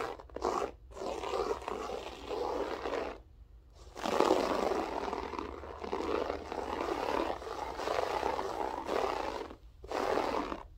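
Long French-tip nails scratch the pile of a grey loop-pile berber carpet floor, using fingertips and then full hands. The result is a dense, raspy scraping with a roar-like character centered in the low mids. It comes in long sustained bursts separated by brief silent pauses.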